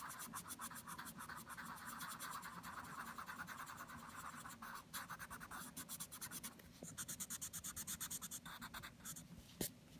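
A wooden Prismacolor Premier colored pencil scratches and shades a flat printed paper coloring book page with a scarecrow illustration, lying on a table, in steady back-and-forth strokes. The result is a quiet, rhythmic, dry rasping with bright, papery texture, pulsing faster toward the end and ending with one sharper tap.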